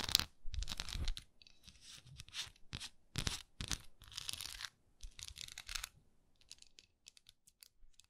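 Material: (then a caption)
Wax. Long nails scratch across the raised swirl texture of a solid wax pillar candle, producing quick, irregular bursts of dry, bright rasping. Each burst carries a soft low thud beneath it, with brief pauses in between and no ringing after each stroke.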